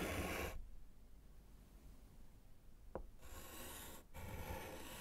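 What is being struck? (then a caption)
Slate chalkboard in a wooden frame, chalk. A gloved hand writes with yellow chalk on a small, flat, solid slate chalkboard in a wooden frame. A burst of bright, broadband chalk scratching and rubbing gives way to a quiet pause and a single short tap. The scratching then resumes and continues to the end with a brief break.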